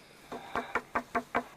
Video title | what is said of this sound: A Arca de Noé foi descoberta em 2010, pela expedição NAMI. Leg. Português. Este é o documentário. | it's wooden it's not a rock